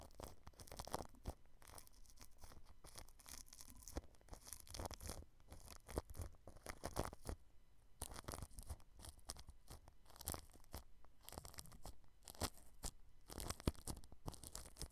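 A small pointed paintbrush with a red handle brushes and rubs across clear plastic cling film wrapped tightly over a round white microphone head with a hollow grille underneath. The result is a steady run of close, crinkly, scratchy strokes with bright crackle, a heavy low thump under each pass, and a few brief quieter pauses.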